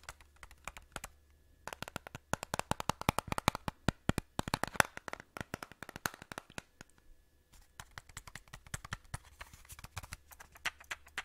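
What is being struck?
Clear plastic audio cassette case.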